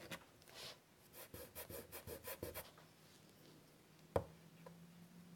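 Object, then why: Chalk stick on a wood-framed chalkboard. A white chalk stick held in the fingers scratches a run of short, dry strokes across a large flat wood-framed chalkboard, each a brief bright rasp. After a pause, a single sharp tap sounds near the four-second mark, followed by a faint, steady low hum.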